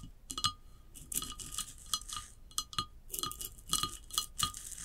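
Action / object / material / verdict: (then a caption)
tap / glazed ceramic vase / ceramic / none. Long acrylic nails tap and scratch a tall hollow ceramic vase lying on its side, moving across its glossy glaze and a rough unglazed band. Sharp, bright clinks with a short ringing tone near 1.2 kHz fade quickly and alternate with hissy, scratchy bursts.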